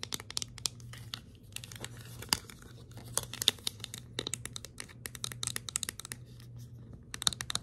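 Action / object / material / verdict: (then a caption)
tap / small hard plastic scoop / plastic / none. A small, hollow, empty white hard plastic scoop is held in the hand and tapped and scratched with long acrylic nails. The result is a quick, irregular run of sharp, bright clicks and dry scratchy crinkling over a faint steady low hum. Each tap dies away almost instantly.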